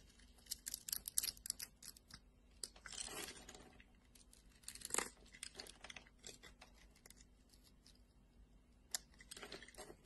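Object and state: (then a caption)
Glycerin soap bar being cut. A metal blade scores lines into a solid red translucent glycerin soap bar and scrapes across it, making quiet, crisp, bright crunching and crackling. Short dry scratches run throughout, with longer scraping bursts around three and five seconds, over a faint steady low hum.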